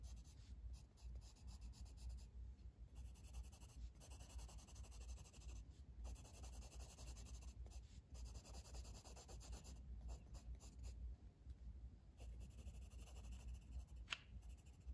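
A blue wooden colored pencil, held in the fingers, rubs across a flat paper coloring book page lying on a table in shading strokes. The result is a soft, continuous scratchy rasp with a bright edge, broken by brief pauses as the strokes change, over a steady low hum.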